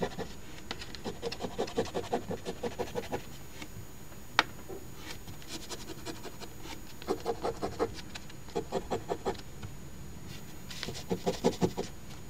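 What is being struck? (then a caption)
Coated paper lottery ticket scratched with a coin. A coin scratches the coated squares of the crossword grid on a $10 Ontario OLG Crossword Deluxe instant scratch ticket (#3354), a thin flat paper ticket lying on a table and held down by one hand. Bursts of quick, rasping scratch strokes come in short runs separated by quiet pauses, with one sharp tap partway through.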